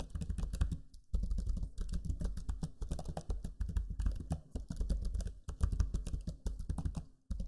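Fingertips type steadily on the low-profile plastic keys of a backlit black Lenovo Legion 5 laptop keyboard. Quick, dense clicks and soft taps run in bursts with a few brief pauses. The tone is low and muffled.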